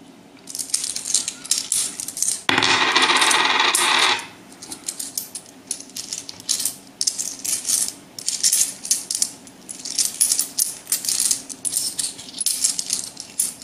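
A few small, solid metal euro coins are held loosely in one hand over a wooden table and shaken so they rattle against the fingertips and palm, with some dropping onto the table. The result is bright, short-ringing metallic clinks and jingles in uneven bursts, with a louder, continuous rush of rattling for about a second and a half near the start.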